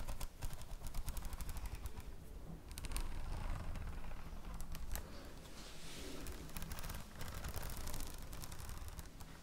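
Long nails tap rapidly on the plastic cover of a red spiral notebook, making a dense run of short, dry clicking taps. Each tap dies away almost instantly, over a low, thuddy body of sound with faint bright clicks on top.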